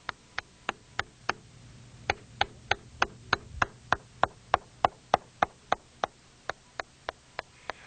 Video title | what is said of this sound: Inspection of Concrete and Masonry Dams | drummy concrete can be detected by tapping on the surface with a hammer